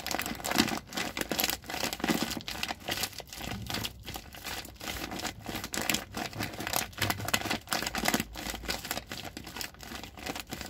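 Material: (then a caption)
Plastic. Fingers crinkle and rub the plastic near the red handle of a large white plastic rice bag with red print, full of rice. Dense, continuous crackling rustles fill the clip, mostly bright and crisp with a softer low body. Short crinkles come in quick irregular bursts with no ring after them.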